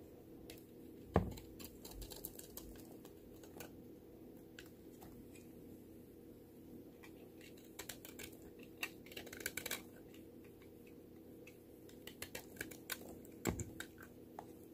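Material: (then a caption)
Soap. A small metal knife shaves thin slices and curls off the edge of a solid pink soap bar, now a flattened hand-sized piece held in the fingers, with repeated scraping cuts. Quiet, crisp scrapes and short bright ticks come in irregular clusters over a low, steady background hum. Two louder, dull knocks stand out near the start and near the end.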